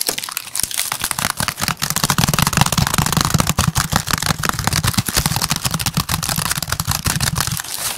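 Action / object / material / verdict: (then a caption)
scrape / woven basket / woven strips / none. A medium pink woven basket with an orange handle, hollow and empty, is held up while fingertips and nails rapidly tap and scratch its woven strips. Dense, crisp crackling clicks and scratchy crinkles run steadily for the whole clip over a low hollow thump, with each tap dying away almost instantly.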